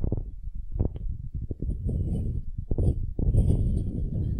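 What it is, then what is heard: Wooden cube scratched with nails. Long nails scratch the end grain face of a solid, light wooden cube, making a dense, low, rasping scratch. Short strokes come in quick bursts and then run into a steadier grinding rub, with faint bright hiss on top.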